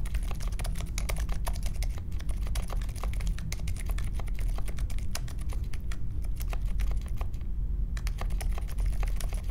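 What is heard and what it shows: Fingertips type on the plastic keycaps of a compact Polaris mechanical keyboard with a metal case and silent Alpaca switches, resting on a marble desk. A steady run of rapid, soft, muted key presses lasts throughout, each a short dull thock with a faint bright tick and almost no ring, over a low rumbling undertone.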